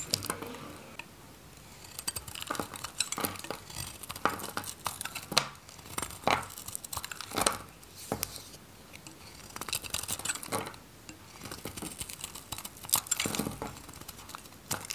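A metal craft knife shaves the edges off a dry, varnished white Godrej No.1 bar soap held in the hand, and flakes fall away. Crisp, dry scraping and crackling cuts repeat steadily, bright and brief, with quiet pauses between strokes.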